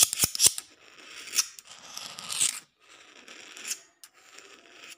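The steel blade of a green-handled utility knife is scraped back and forth across a solid outdoor concrete floor. Sharp, bright ticks open the clip, followed by gritty, high-pitched scraping strokes in separate bursts with short silent gaps between them.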